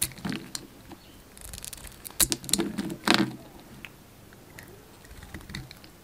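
A hand-sized solid white bar of soap with a dark blue outer layer is held in the hand and carved with a yellow utility knife blade. Soft, crisp scraping and cutting sounds come in several clusters, with the loudest bright slicing strokes near the middle of the clip, then fade to quieter light scrapes.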